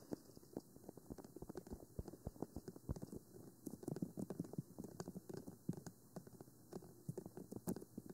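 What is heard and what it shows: Long manicured nails of both hands tap and scratch the black, rectangular, hollow plastic body of a 3Dio Free Space binaural microphone with white silicone ears, standing on a stand. The result is a quiet, rapid, uneven patter of short, dry clicks with a hollow low thump and almost no ring, mixed with brief soft scratching.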